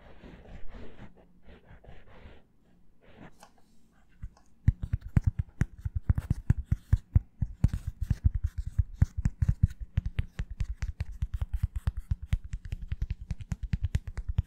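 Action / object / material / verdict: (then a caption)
tap / plastic-backed foam sponge hair brush / plastic / none. A hand-sized hair twist wave sponge brush, with a hollow hard plastic oval shell back, a black foam sponge and a blue rim, is held close to the mic and worked with long fingernails on its plastic back. Soft, scratchy rubbing bursts come first. From about four and a half seconds, a steady run of rapid, sharp, dry taps follows, each with a low, hollow knock and almost no ring.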